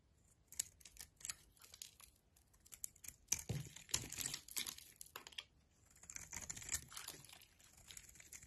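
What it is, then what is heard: Bar soap cut and scraped. A metal knife blade cuts and scrapes a solid oval bar of soap with a brown outer layer and lilac core, held in a hand with long nails, sending shavings falling. Irregular bursts of crisp, bright scraping and crunching come through, with a louder, denser stretch in the middle and quieter pauses between strokes.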